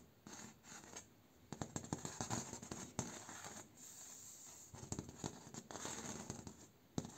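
A finger and short nail scratch and tap across the slats of a bamboo slat door, with the hand close to the camera at times. Quiet, dry, rustling scrapes come in bursts with brief pauses, broken by short, sharp taps that die away instantly, ending with a crisp tap near the close.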